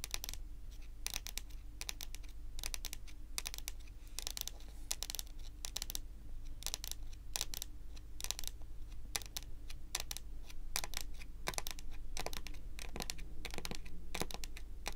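Long pointed nails rapidly tap a solid, dark wood-grain tabletop in a typing-like pattern. Bursts of sharp, bright clicks come in quick runs over a steady low hum. Each click dies away almost at once.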